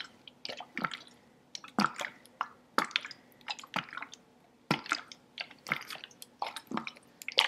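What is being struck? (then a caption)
Plastic water bottle with water. A large, hollow, clear green-tinted plastic sports bottle partly filled with water is held horizontally in both hands and tilted back and forth. The water sloshes inside in short, irregular wet bursts with bright dripping splashes and squishy gurgles. Quiet pauses fall between the bursts.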